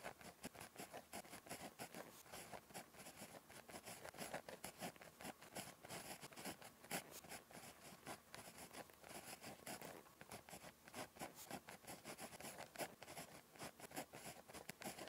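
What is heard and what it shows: A ballpoint pen tip scratches across a thin, flat lined paper notebook page resting on a surface while writing Korean handwriting. A steady run of quiet, dry, scratchy strokes with bright hiss fills the clip, each stroke short and quickly fading as the pen moves letter to letter.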